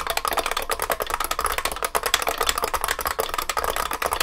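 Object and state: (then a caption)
IBM beam spring keyboard being typed on. Both hands type continuously with their fingertips on a large vintage beige IBM 3278 beam spring keyboard with plastic keycaps and a metal case. The result is a dense, rapid stream of sharp, clacky keystrokes with a bright, metallic ping and very short decay over a faint low hum.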